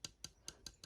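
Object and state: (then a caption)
Plastic model aircraft, not metal. A molded resin plastic Air France Concorde scale model, not diecast, is tapped five times, giving short, bright plastic clicks. The ticks sit high and die out almost at once. The thick body still sounds like plastic rather than metal.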